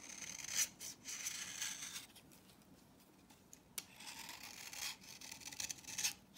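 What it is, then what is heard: Dry soap bar being shaved. A utility knife blade shaves the flat face of a solid orange, dry vintage soap bar held in the hand, with fine dry powder building up on the blade. Bright, dry scraping strokes sound in bursts, broken by a quiet pause and a short sharp click. The rasping then picks up again.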